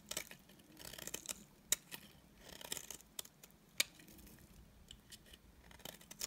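A solid, dry beige bar of soap has its edges and face shaved with a utility knife blade, giving quiet, bright scraping and crisp crackling sounds. Bursts of shaving alternate with a couple of sharp snapping clicks.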